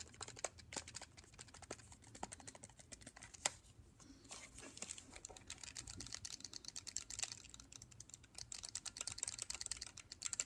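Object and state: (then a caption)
Plastic handheld game console tapped. Fingertips and short nails tap rapidly on the back and top lid of a closed, small, hollow black plastic Nintendo DSi handheld console held in hand. The result is a fast, steady patter of crisp, bright clicks with almost no ring.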